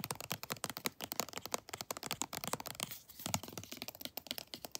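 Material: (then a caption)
Plastic. Long nails tap quickly across the front and back of a pink textured plastic lotion tube. The taps are rapid, dry and clicky, bright with little low end, and stop almost instantly. A brief cross-fade softens the sound near the middle before the tapping picks back up.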